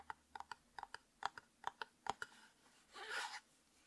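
Fingertips and nails tap on the flat white plastic lid top of a hollow light-blue and white labeled plastic tub with a screw lid, held in the hands. A series of quick, light, hollow clicks with a dry mid-range knock is followed by a brief bright, rough scratching across the lid.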